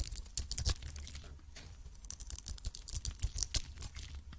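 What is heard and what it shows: A metal blade scrapes the surface of a hand-held cream solid soap bar with a red coating. Dry, crackling scrapes and crumbly flakes come in quick, uneven bursts with bright, brittle detail over a low rumble.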